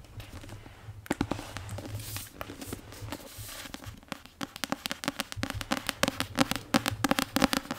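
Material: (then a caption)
Paper, card. Long painted nails tap on the card cover of a solid *Prisoner of Azkaban* paperback. After a soft papery rustle, quick, irregular, crisp clicking taps follow with almost no ring, growing denser and louder toward the end.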